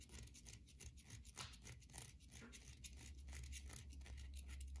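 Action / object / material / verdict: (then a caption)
scrape / soap bar scratched and tapped with fingernails / soap / none. Long glossy nails scratch and tap across the scored top of a hand-sized solid white bar of soap. Quiet, quick, uneven scratching and dry tapping run together as a bright rasp over a steady low hum.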